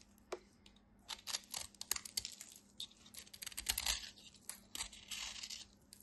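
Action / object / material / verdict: scrape / white bar soap and utility knife blade / soap / none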